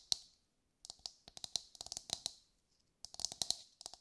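Long light-grey nails tap a brown husked whole coconut with a hard fibrous shell, held in both hands. Quick, dry, bright clicks come in an uneven run, stop for a brief pause, then start again in a second burst. Each tap dies away almost at once, with a high, crisp tone and hardly any low end.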